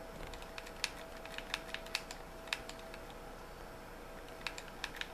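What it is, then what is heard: Plastic game controller. Fingertips tap on the shell and triggers of a white, hollow plastic game controller, making sharp, dry clicks at an irregular pace. The crisp taps are bright and centered around 2.5 kHz, over a quiet background with a faint steady tone.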